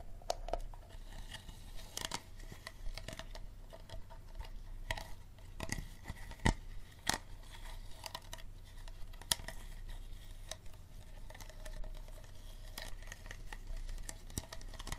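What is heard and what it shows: Fingernails tap and scratch the ridged bottom and the label side of a small, empty, hollow, clear plastic Dasani water bottle. Sharp, bright plastic clicks and crinkly scratching are scattered across the clip over a steady low hum.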